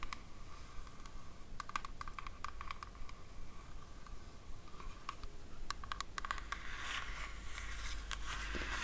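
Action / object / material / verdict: tap / small cardboard gift box tapped with fingernails / cardboard / none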